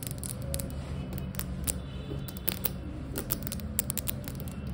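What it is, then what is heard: Polished floor tile. Fingertips and long acrylic nails, palms up, quickly tap and scratch a large, flat, polished, reflective glossy marble-look floor tile that is solid. Rapid, sharp, bright clicks and short scratchy strokes sit over a steady low hum, and each tap dies away almost instantly.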